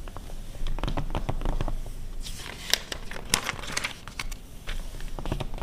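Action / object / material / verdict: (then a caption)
scrape / glossy paper magazine pages / glossy paper / none. Long red nails scratch and tap across the glossy pages of an open 2009 paper car magazine, and the pages are flipped. Dense, dry crinkling scrapes and quick taps come through with a low rumble underneath. Brighter rustling bursts rise in the middle as the pages turn.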